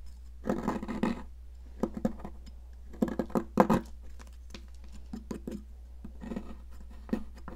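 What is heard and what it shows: A solid blue popsicle-shaped sidewalk chalk stick is scraped and carved with a small metal palette knife, leaving a pile of blue crumbs on a plastic mat. Dry, gritty scrapes and short crumbly crunches come in uneven bursts over a steady low hum.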